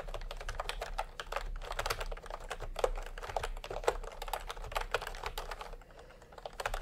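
Fingertips type in continuous taps on a full-size plastic typewriter-style computer keyboard with round retro keycaps in peach and cream, lying on a white cloth. A steady run of quick, dry, clacky key strikes sits in the mid range with a low hum underneath, and a brief lull just before the end.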